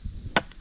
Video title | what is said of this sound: Sudhagad -- हुबेहुब रायगडासारखा दिसणारा सुधागड किल्ला -- trekk | ठोकला तर आवाज वेगळा येतोय